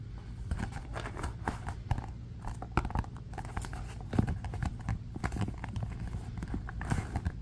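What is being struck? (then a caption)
Cardboard-covered notebook. A closed black-and-white marbled composition notebook with cardboard covers is held upright in both hands while fingertips and short nails grip and tap its front cover. The result is a steady run of quick, dull taps and soft scratchy grips, with a low, muffled tone and short, dry decays.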